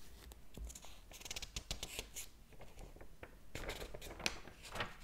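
Fingers flip and fan the thin paper pages of a large open hardcover book. Quick, papery rustles and soft flutters come in bursts, with bright high hiss, faint low thumps and a few sharper page snaps.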